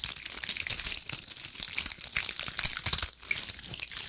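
A fist-sized, ball-shaped bundle of small dried pine cones with brittle woody scales is held in both hands and scratched and squeezed with long acrylic nails. It makes a dense, continuous stream of bright, dry crackling and crunching with almost no low end, easing off briefly just after the three-second mark before picking back up.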